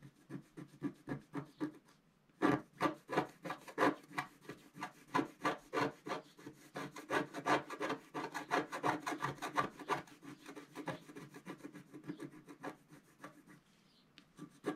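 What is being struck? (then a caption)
Coated scratch-art card scraped with a wooden stylus. A wooden stylus scrapes away the black layer of a flat black-coated scratch-art card in dense, rapid strokes, about three per second. The steady, dry rasping is soft at first, pauses briefly, then strikes harder and continues before easing off near the end.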